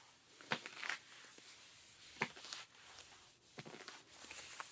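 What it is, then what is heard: Denim jeans scratched with gloved fingers. Pink rubber-gloved fingers scratch along the thigh and hip of worn, ripped blue cotton denim jeans, with the hands partly near the leather belt. About seven quiet, bright, dry rasping scrapes come in uneven bursts, separated by a soft, steady fabric hiss.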